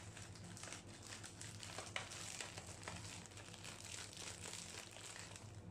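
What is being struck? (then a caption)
Sealed cookie pack in plastic wrapper. A small, sealed M&M's Cookies pack full of cookies in a crinkly plastic/foil wrapper is held above a steel ice cream plate and handled by gloved fingertips. Fast tapping and steady bright crinkling run throughout, over a low steady hum.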